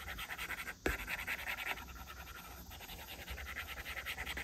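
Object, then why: Plastic stylus on glass tablet screen. A plastic stylus makes repeated short strokes across the glass screen of an iPad while the fingertips of the left hand rest on the screen, producing quick scratchy taps in a steady drawing rhythm. A single sharper tap stands out near the start, and the strokes then continue as soft, bright scratches.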